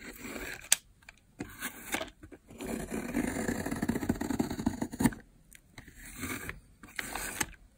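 A metal blade carves thin, cracked layers off the top of a long, solid, dry, dark purple soap bar with a speckled texture, lying on a white surface while a hand holds the far end. Dry, crackling scrapes come in bursts, with one long sustained shave in the middle, and carry a bright, high edge and sharp snapping clicks between short silences.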